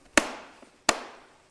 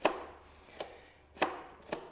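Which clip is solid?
The first.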